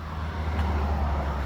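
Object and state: Nothing is struck.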